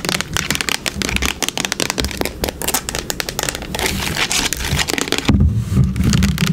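Long nails tap quickly and irregularly on a full-looking yellow plastic hair product bottle with a brown cap, striking both the body and the cap while the bottle lies down and stands up. The taps come as a dense run of hollow, low thuds with bright clicky edges. They grow louder and deeper near the end.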